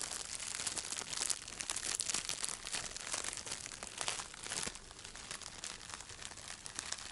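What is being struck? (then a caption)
Thin plastic cellophane bag. A thin, light-blue, crinkly plastic cellophane bag is held in both hands and crumpled and rubbed with the fingers. The result is a dense, continuous crinkling and crackling that is bright and high with almost no low end, rising and falling in intensity without pause.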